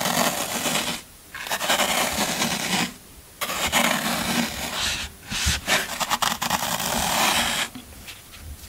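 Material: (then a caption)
Floral foam. A metal scraper tool digs into and scrapes the end of a solid green floral foam brick. Bright, crunchy, rasping scrapes come in long strokes, broken by short pauses and a few quick choppy bursts. The sound fades to a softer scratching at the end.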